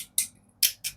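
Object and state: Aluminium fishing reel part.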